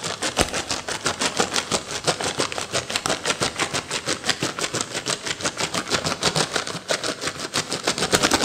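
A yellow plastic M&M candy bag full of candies is held and crinkled by hand, then scratched and tapped with long fingernails over a saucer. The result is a steady stream of rapid, bright, crackly crinkles and sharp little taps, with little low end, that keeps going without pause for the whole clip.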